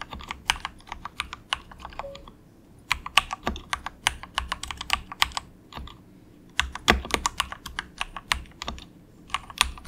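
Fingertips of both hands softly type on a cheap, compact 68-key plastic mechanical keyboard with a hollow case, resting on a dragon desk mat. Dense runs of short, bright, clacky keystrokes with a hollow low thump come in bursts, with brief pauses around the 2.5-second and 6-second marks. Each click stops almost instantly, with no ring.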